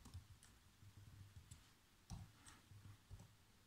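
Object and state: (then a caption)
Plastic laptop keyboard being typed on. Fingertips type fast on black plastic laptop keys, producing quick, irregular taps with short, bright clicks over soft low thuds. Each tap dies away almost at once, and a few land harder than the rest.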